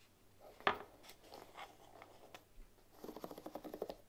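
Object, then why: Bamboo hairbrush with wooden pins. A bamboo paddle hairbrush with wooden pins lies on a table while long nails scratch and flick its pins. One sharp click stands out early, followed by soft, dry scratching. The clip ends in a quick run of light, crisp ticks.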